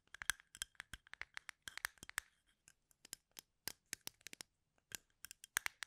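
Fingernails repeatedly scratch across the wooden tips of a full plastic cup of toothpicks held sideways. The result is a quiet, irregular run of short, dry, clicking scratches that are bright and crackly, centered around 1.6 kHz with almost no low end. Each scratch stops instantly, leaving no ring.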